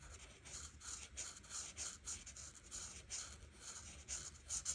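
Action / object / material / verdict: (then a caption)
scrape / marker tip on a thin paper sheet / paper / none. A large white marker, held by a hand with red nails, rubs its fine tip along the edges of the pattern on a thin printed paper coloring page lying flat on a table. The result is a soft, continuous, bright scratchy squeak that swells and fades with each stroke in a steady rhythm.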